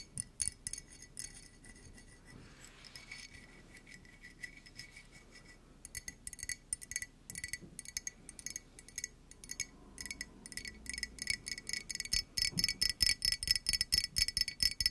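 A hollow yellow ceramic mug, held in both hands, is tapped with long nails and fingertips, giving bright, sharp clicks and clinks that die away almost instantly. The taps start sparse and quiet, then pick up from around six seconds into a quicker, uneven rhythm that grows louder and denser toward the end.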